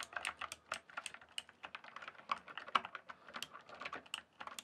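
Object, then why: Plastic computer keyboard. Fingertips type and tap on the solid keys of a full-size backlit plastic RGB computer keyboard, a Cyberpowerpc Skorpion K1, resting on a dark surface in dim light. About two dozen quick, dry plastic clicks and clacks follow one another in an uneven rhythm, bright and midrange with no low thump. Each stroke stops almost instantly, leaving no ring.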